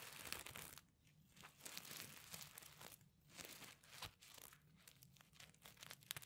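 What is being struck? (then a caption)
Sequin-covered fabric pencil case. Fingertips and nails scratch and flip the reversible sequins covering a flat pencil case. The result is a quiet, bright, crinkly rasping made of dense rapid ticks, coming in bursts separated by brief softer pauses.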